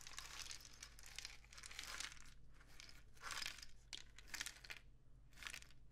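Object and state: Cardboard rain stick.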